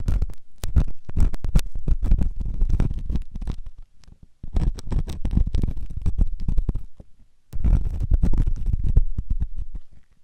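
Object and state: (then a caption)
Silicone ear of a binaural microphone being scratched. A metal ear pick held in the fingers scratches inside the ear canal of a white solid silicone ear on a binaural microphone. Dense bursts of low, rumbling scraping and rustling fill the clip, pausing briefly around 4 and 7.5 seconds before resuming.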